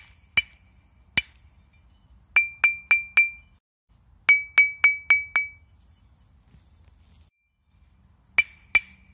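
A thin, flat, solid limestone slab held in one hand is knocked repeatedly by the other hand while being tuned. It gives 14 short, bright, ringing clinks pitched around 2.3 kHz, in loose groups of four and five with pauses between. Each tap dies away quickly.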